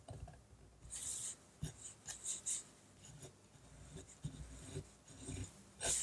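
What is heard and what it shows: A fine-tip Rotring Artpen technical pen scratches ink hatching strokes across a large flat sheet of white drawing paper on a table. Quiet, bright, raspy scratching comes in short separate bursts with brief pauses between strokes, over a soft low rumble.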